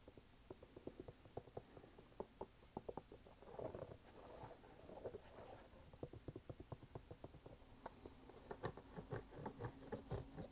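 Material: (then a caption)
Canvas, rubber. A red canvas sneaker with a rubber sole is held in both hands while fingertips tap and scratch the canvas upper and the rubber sidewall. Quiet, dull, muffled taps come in an uneven string, broken in the middle by a softer stretch of scratchy rustling. The taps then return, closer together and a little louder toward the end.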